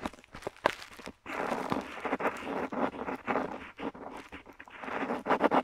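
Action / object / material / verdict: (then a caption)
scrape / metal pen nib on paper / paper / none. A metal dip pen nib scratches across a flat paper map sheet while writing letters. Short, dry scratching strokes come in uneven bursts with brief quiet gaps, their rough texture centered in the mid range with little low end.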